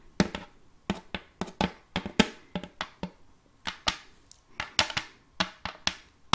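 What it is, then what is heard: Wooden serving tray. Long fake nails tap and scratch the flat face of an empty, round, glossy wooden serving tray with a rim, held vertically. About twenty sharp, separate taps land in an uneven rhythm, each with a bright, clicky top and a short, hollow thunk near 210 Hz. Each tap dies away almost instantly, with light scratching between them.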